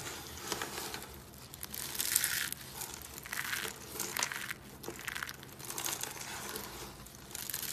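Both hands squeeze and crush a pile of thin, dry, multicolored soap curls on a wooden table into small crumbly flakes. The result is a steady stream of crisp, bright crinkling and crunching that rises and falls in bursts as the curls break apart.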